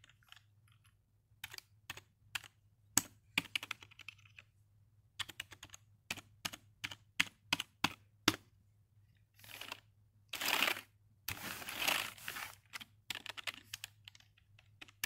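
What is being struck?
Plastic computer keyboard.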